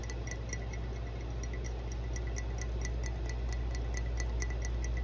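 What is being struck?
Ceramic mug.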